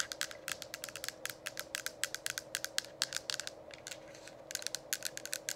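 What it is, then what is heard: Plastic diffuser dome tapped with nails. Long acrylic nails tap rapidly over the top and sides of a hollow, lit plastic diffuser dome cover. The result is a dense run of sharp, bright clicky taps, with a faint steady hum underneath. The taps come in quick clusters with brief pauses.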